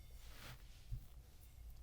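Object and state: Nothing is struck.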